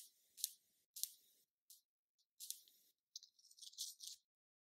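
Long nails tap the lid of a small round black plastic NYX concealer jar. A series of quick, bright, high-pitched clicks sound in short bursts, with brief scratchy rattles between them and no low end.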